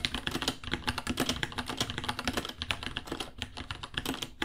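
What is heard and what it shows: Both hands type quickly with their fingertips on a small white 66-key mechanical keyboard with Gateron Brown switches, white plastic keycaps, a hollow case and pink underglow, resting on a white desk. A steady stream of short, bright plastic clacks and taps is heard, each dying away almost instantly, with a light low thud beneath.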